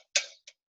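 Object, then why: Aluminium soda can. A can of Coke Zero (an aluminum soda can) is tapped twice to show the fundamental sound of a tap and the overtones that ring through the can. Each tap is a bright, high-pitched tick, and the first one has a short metallic ring that fades within about a quarter second.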